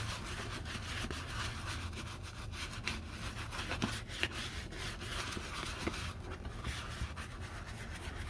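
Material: Leather.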